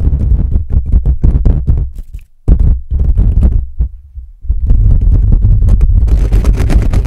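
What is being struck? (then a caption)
Metal mesh microphone grille. Fingernails scratch aggressively down the sides of a silver-black metal mesh microphone grille, producing rapid, deep, booming rumbles and thumps that sound close and muffled. Quick bursts of scratching come in fast runs with brief pauses, then settle into continuous rough scraping with a brighter hiss near the end.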